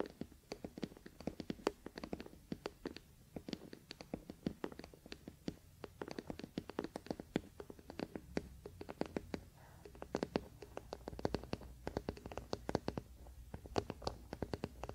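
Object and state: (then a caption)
Wooden paddle hairbrush tapped and scratched. Fingertips and nails of both hands scratch and tap the solid wooden back of a wooden paddle hairbrush resting on a blanket. A rapid, steady stream of short, dry, quiet clicks and soft scrapes fills the clip, each dying away almost instantly over a faint low hum.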